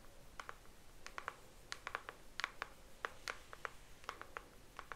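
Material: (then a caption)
Cardboard. Long nails tap and scratch on a pink cardboard Mojave hairbrush box, hollow packaging with the brush inside, held up close. About 21 quick, dry taps sound over five seconds. They are quiet and crisp, centered around 1.4 kHz with bright edges, and die away instantly with no ring.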